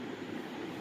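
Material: Nothing is struck.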